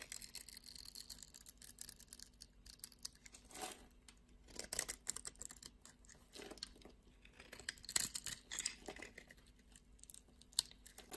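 A utility knife blade scrapes crumbs off a solid blue and white striped soap bar. The result is a steady run of quiet, dry, high scratching and crumbling, with louder scraping strokes recurring throughout.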